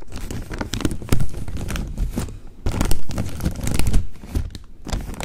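Fingers crinkle and fold the upper part of a large, open-topped plastic snack bag with corn rings inside. Dense crackling and crunching plastic carries on for about five seconds, with louder bursts near 1, 3 and 4 seconds and a deep low-end rumble under the bright, sharp crinkles.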